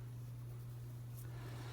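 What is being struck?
Nothing is struck.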